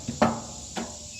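Fingers tap the top of a freshly grilled, nicely browned Italian bread loaf to check it for doneness. Three short, dull, hollow taps are heard, the second loudest, with low-mid body and a quick fade over a steady high hiss. The loaf sounds nice and hollow, meaning it is baked through.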